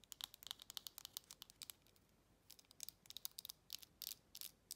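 Long red acrylic nails tap and scratch the flat top of a shiny silver metal lid with an embossed logo, on a textured glass jar held upright. Quick, bright clicking taps come in two bursts separated by a brief quieter stretch of faint scratching, with almost no low end and very little ring after each tap.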